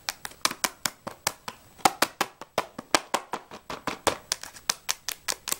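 A small, closed Jaxon 12 crayon box made of printed cardboard, hollow and holding crayons, is quickly tapped and scratched with long nails while being turned in the hands. About 25 sharp, dry, bright taps come in a fast, uneven rhythm, each dying away almost at once, with light crinkling and a hollow papery tone around 770 Hz.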